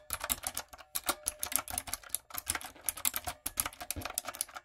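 Long coffin nails and fingertips type on a backlit plastic typewriter-style mechanical keyboard with round retro plastic keycaps and a hollow body. Quick, bright, clacky key strikes come in a steady uneven stream with small pauses between bursts. Each click is crisp and dies away almost at once.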